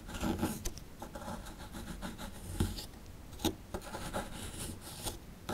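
A chisel tool scrapes and digs into the lower edge of a small, solid plaster fossil dig block. It makes dry, gritty rubbing and rasping sounds, with occasional sharp ticks and crunches as pieces of plaster give way.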